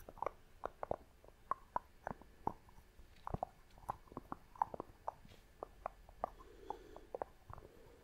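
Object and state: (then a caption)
Wooden lid of a glass box, tapped with nails. Long nails tap and scratch the top of the wooden lid on a small clear glass box held close. The result is a quiet run of crisp, hollow-sounding wooden clicks around 900 Hz, with a few soft scrapes between the taps.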